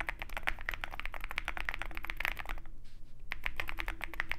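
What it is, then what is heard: Mechanical keyboard with PBT keycaps. A compact 65% Zoom65 mechanical keyboard with a dark case and white PBT keycaps is typed on continuously with the fingertips of both hands. It produces a fast, dense stream of short, crisp clacks with a bright tone centered near 2 kHz, over a low steady background hum. A brief pause in the typing falls just before the three-second mark.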